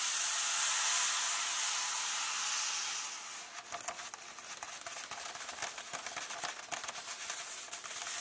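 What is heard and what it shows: Fingertips and nails of both hands rub and tap flat across the paper pages of a large open book, resting at the dedication page. A steady, bright, airy rustle fills the first three seconds, then gives way to a quick run of crisp, dry taps over a softer scratching.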